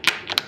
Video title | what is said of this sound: FM Gammon Mini Blackhawk Review | even with this being MDF and not hardwood, you still got that great sound of the checkers hitting the bar